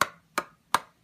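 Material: Rubber.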